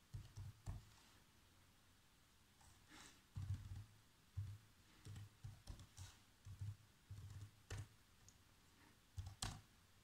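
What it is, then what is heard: Plastic laptop keyboard typing. Fingertips press the black plastic keys of a laptop keyboard, producing quiet, irregular typing taps. Each tap is a short, dull low thump with a faint bright click on top, separated by brief pauses and near silence.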